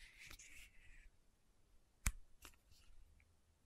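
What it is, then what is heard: Plastic bottle with metal cap, tapped with nails. A small pink Aupres sunscreen bottle, plastic with a metallic cap, is held in one hand while long nails and fingertips tap the top of the cap. A soft, bright scratchy rustle opens the clip, then a single sharp, crisp click stands out, followed by a few fainter light taps. The clicks are quiet, short and dry, with almost no ring.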